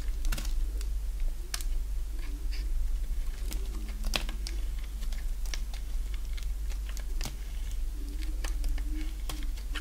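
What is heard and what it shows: A solid oval bar of dry green soap, held in the palm, is shaved into curls with a box-cutter blade. Quick, crisp scraping and cutting ticks land irregularly and die away at once, bright and dry over a steady low hum.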